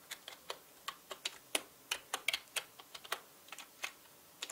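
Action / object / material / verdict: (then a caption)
tap / plastic mechanical keyboard keys / plastic / none. Fingertips type fast on a full-size black mechanical keyboard with plastic keycaps, producing about 18 quick, dry, bright clicks at an uneven pace. Each tap is sharp and ends almost instantly, with no low-end thump.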